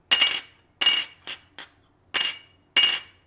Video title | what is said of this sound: STIHL BR 600 / 700 LEAKING ENGINE PAN REPAIR / DIY | you can definitely hear that tinging sound